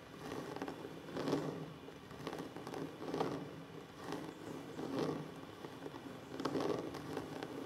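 Fingertips and short nails of both hands tap and scratch a solid, flat wooden tabletop. Soft, dry scraping and light taps rise and fall in loose, irregular swells, with a warm, woody body in the low mids. The sound is quiet and close, and each tap fades quickly.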